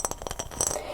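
A glass mason jar is tapped, giving a quick run of short, bright glassy clinks that fade almost at once. The taps come in rapid succession with a high ringing tone, ending in a slightly denser cluster of clinks.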